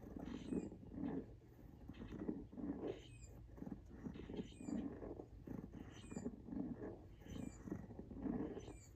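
Fingernails tap and scratch the tread of a pink rubber outsole on a Nike Jordan 1 High "Washed Pink" sneaker held vertically. The result is a quiet series of soft, muffled low-mid bursts in a steady rhythm, with faint bright scratchy ticks on top.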